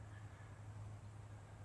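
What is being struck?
Nothing is struck.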